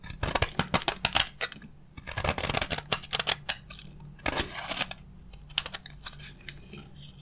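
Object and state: Dry bar soap.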